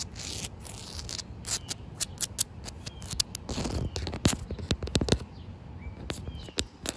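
Short white nails and fingertips scratch and tap along the surface of a solid, damp outdoor concrete slab with an expansion joint. Sharp, bright clicks and dry, rasping scrapes come in quick, uneven bursts over a low, rumbling background. Each tap dies away almost instantly.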